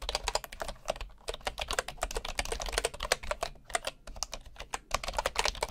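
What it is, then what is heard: Bamboo wooden keyboard typing. Fingertips type steadily and quickly on a bamboo wood keyboard with wooden keys and a hollow body. The keystrokes are short, dry clicks with a hollow mid-range knock and bright upper edges, each dying out almost instantly over a faint low hum.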